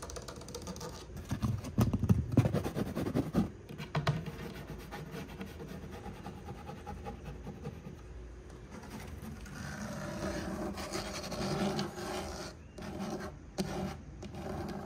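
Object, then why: Wood-grain laminate cube shelf divider. Fingernails scratch along the solid dark brown wood-grain laminate divider of a cube storage shelf. The result is a rapid, uneven run of low, dry scratching strokes with short taps mixed in, louder around the first few seconds, then steadier.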